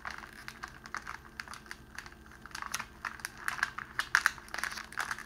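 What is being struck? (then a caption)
Cellophane wrapping sheet. A folded sheet of clear cellophane wrapping around a rose is held in both hands while the fingers squeeze and crinkle it. It gives a quiet stream of sharp, bright crackles and snaps with no low rumble, growing denser and louder in the second half.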